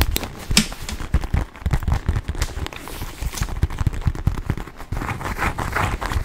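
A small black quilted leather handbag with silver hardware is held close and tapped and scratched with fingertips and nails. Dense, low, muffled taps mix with dry, crackly scratching, and a brighter rustling scrape comes in toward the end.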